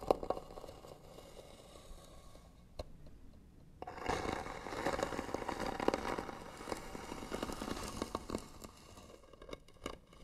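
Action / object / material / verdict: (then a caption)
scrape / wooden box / wood / none. Fingernails scratch along the lid edge of a hollow white wooden box with pearl trim. A soft, dry scratching with a few sharp ticks grows into louder, dense raspy scraping in the middle of the clip, then thins out into scattered clicks at the end.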